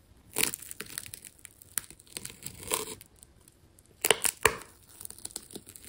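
The tip of a metal scalpel cuts into a hand-held, fist-sized solid ball wound from blue plastic tape, tearing through its layers. Irregular bursts of bright, crisp tearing and crinkling follow one another, with quieter scratchy stretches between. The strongest rips come in a cluster about two-thirds of the way through.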